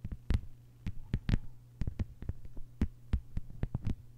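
Long white-polished fingernails on both hands tap a thin, solid, flat lime-green plastic cutting mat lying on a table. A quick, uneven run of short, dull taps lands mostly in the low range, each dying away almost at once. A steady low hum sits underneath.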